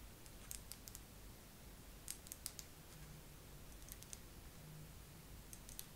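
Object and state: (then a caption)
Face massager. A face massager is tapped slowly with long nails. Short, bright clicks land in loose clusters with pauses between them, each fading almost at once over a quiet, steady low hum.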